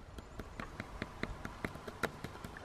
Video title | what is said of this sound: BUSTED ~ Hot Water Freezes Faster than Cold Water! | If I tap it, it's hard.